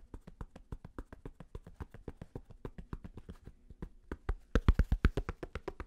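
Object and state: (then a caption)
Fabric snapback cap. Fingertips tap and scratch the stiff purple flat brim of a black fabric snapback cap. About 27 quick, dull, low thuds with no ring, mixed with a light fabric scratch, grow louder near the end.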